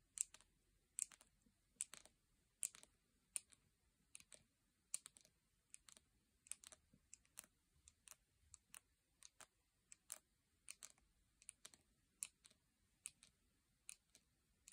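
Long painted nails tap on the lid and sides of a full, round plastic jar of salt scrub. About 40 quiet, sharp, bright clicks with almost no ring come in a loose, irregular rhythm over the clip, with no other sounds in between.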